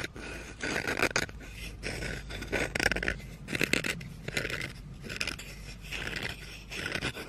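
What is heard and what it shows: Red-painted fingernails scratch along the back and handle of a solid wooden spoon held in the hands. The result is a series of dry, raspy scraping strokes with a bright, papery texture, each rising and fading with short gaps between them over a faint low hum.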